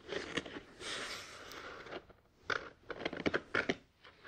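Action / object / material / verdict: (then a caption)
scrape / molded paper pulp tray / paper pulp / none. Fingertips of both hands tap and scratch a molded grey paper pulp tray sitting inside an open cardboard box from a Tascam DR-100 mkII unboxing. The first two seconds are a dry, crackly scraping hiss, followed by a quiet pause. Then come nine sharp, papery taps with no ring.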